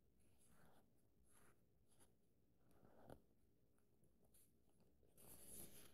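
An open paperback book's paper pages: a page is turned, then fingertips trace and rub along the new pages. Quiet, dry papery brushing and scratching strokes are heard, with a soft low tap near the middle and a brighter, louder rustle at the end.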